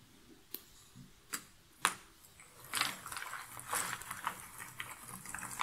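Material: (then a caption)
Cardboard. Loose cardboard jigsaw puzzle pieces in a shallow cardboard box lid are stirred and scratched through by fingertips and nails. Three sharp, bright clicks come apart from each other in the first two seconds, then the sound turns into a denser, continuous crisp rustling and scratching with short clicks through to the end.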